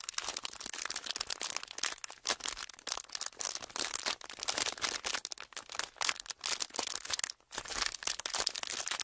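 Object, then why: Thin plastic wrapper. A small folded clear plastic wrapper is squeezed and rubbed with fingertips, producing continuous dense, bright crinkling and crackling with almost no low end. The crinkles come in rapid, uneven bursts with a brief silence near the 7.4-second mark before resuming.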